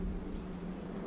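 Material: Nothing is struck.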